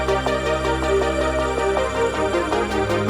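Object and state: Nothing is struck.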